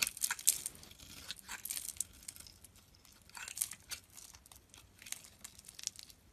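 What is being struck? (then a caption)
Bar of soap shaved with a steel blade. A solid yellow bar of soap, held in the hand, is shaved with a steel utility knife blade while crumbly flakes fall away. The clip is a quiet, irregular run of bright, crisp scraping and crackling strokes with almost no low end. Each stroke dies away at once.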